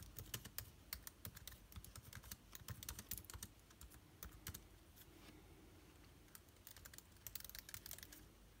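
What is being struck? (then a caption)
Laptop keyboard, plastic keys on aluminium body. Fingertips type rapidly on an aluminium laptop's plastic keycaps, giving quick, bright, dry clicks with low thumps beneath. The clicks come in dense bursts, ease off into a lighter patch midway, then pick up again at the end.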